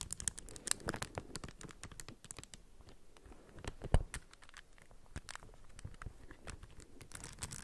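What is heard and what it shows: Long fingernails tap and scratch the raised plastic tiles of a plastic puzzle cube with raised textured stickers, held in both hands. A quiet, steady stream of sharp clicks and light scraping patter continues throughout, each tick dying away almost at once. One sharper, louder click stands out near the middle.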